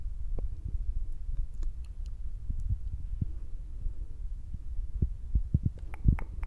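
Fingertips tap rapidly on top of the soft black foam windscreen on a Zoom recorder. The result is a steady stream of deep, muffled thumps under a low hum, with occasional faint bright clicks.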